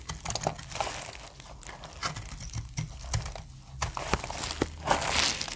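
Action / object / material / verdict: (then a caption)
scrape / bar of soap / soap / none. A utility blade cuts crunchy flakes off a stamped, solid, light brown dry soap bar. Dry, bright crackling and crinkling scrapes run throughout, with quick crunchy snaps and soft low thuds as pieces break away.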